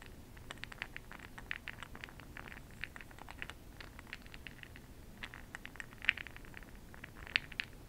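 A makeup brush is swirled and stirred through a small clear open-top glass cup of small bronze makeup pearl beads held in one hand. The pearls rattle against each other and the glass in a quiet, steady patter of fine, bright clicks. A few sharper, louder ticks stand out near the end.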